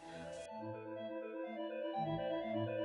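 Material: Nothing is struck.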